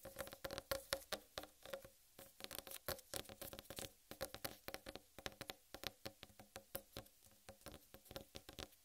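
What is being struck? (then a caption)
Whole watermelon rind. Long red-painted nails tap quickly on a large, whole, uncut watermelon with a green striped rind. The bursts come in irregular clusters, each a sharp, bright nail click over a short, hollow knock near 540 Hz that dies away almost at once.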